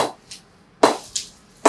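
A ball is struck repeatedly down the face of The Goat SM18 willow cricket bat in a sweet-spot check, producing short, bright wooden pings that die away quickly. The ping tapers off and grows a little weaker toward the toe of the bat.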